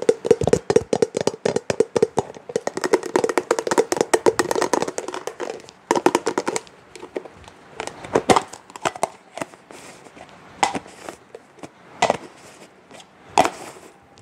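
A small, round, translucent pink plastic food storage container with a matching lid, hollow and seemingly empty, is held in the hands while long fingernails tap and handle the lid and body. Dense bursts of quick, dry clicking taps with a faint hollow tone fill the first six seconds, then thin out into scattered single taps and soft handling sounds. Each tap dies away almost instantly.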